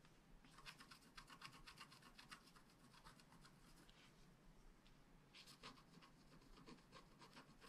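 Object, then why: Wax-coated scratch art card with wooden stylus. A wooden stylus scratches the coating of a flat black scratch art card made of wax-coated paper. Quiet, bright, raspy strokes repeat in quick, uneven succession, thin out briefly near the middle, then pick up again.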